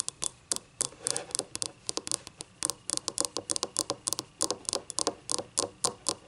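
Long painted nails scratch the paper label and the unglazed rim on the base of a small, yellow, ribbed ceramic cup that is hollow, empty and lying on its side. About 33 quick, dry scratches come in a rapid, uneven patter. Each is a short, bright, gritty rasp with almost no low end that stops at once with no ring.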